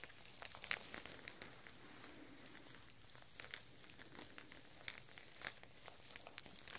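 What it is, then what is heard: Plastic artificial chili pepper string. A single strand of glossy artificial plastic chili peppers on twine is held up by the top with one hand and shaken, so the peppers rustle and knock together. The result is a quiet, bright, crinkly rustle dotted with many short, sharp plastic clicks. A few louder ticks stand out, including one near the very end.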